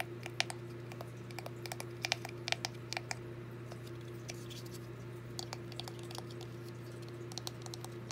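Long dark-painted fingernails rapidly tap the walls and roof of a small, hollow, red-painted wooden birdhouse with gold drawings, held in both hands. Quick, irregular, bright clicks sound over a steady low hum, each tap dying away almost instantly.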